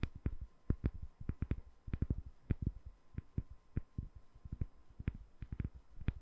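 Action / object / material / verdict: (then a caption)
tap / glycerin soap bar / glycerin soap / none. Long nails tap a solid, palm-sized, translucent glycerin soap bar with embedded colored balls in a quick, uneven series. Each tap is a soft, dull, low thud with a brief click on top that dies away almost at once, over a faint steady hum.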